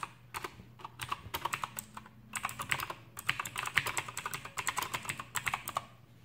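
Both hands type with their fingertips on an Aukey KM-G6 full-size backlit mechanical keyboard with plastic keycaps and clicky Outemu blue switches. A fast run of a few dozen sharp, bright clicks comes in bursts separated by brief pauses. Each keystroke snaps crisply and dies away almost at once.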